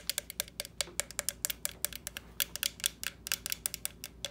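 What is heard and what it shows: Long nails tap and knock on the shell of a small hollow orange plastic jack-o'-lantern lamp with carved-face openings, resting on a stand. About 29 quick, sharp, bright clicks come in an uneven rhythm, each dying away almost instantly over a faint low hum.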